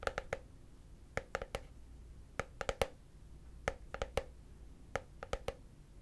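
A hollow, translucent frosted plastic case held upright is tapped with fingertips and short nails, giving 18 quick, dry taps in small clusters of three or four. Each tap has a hollow, mid-pitched knock around 540 Hz with a bright click on top and dies away almost at once, leaving quiet gaps between the groups.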